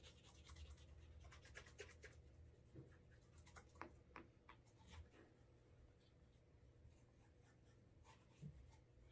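A brown leather Alden Straight Tip Blucher cap-toe dress shoe has its toe, heel and side buffed with a cotton cloth to build a wax burnish. Quiet, steady rubbing fills the clip, with brief bright scratchy swishes over a soft low rumble.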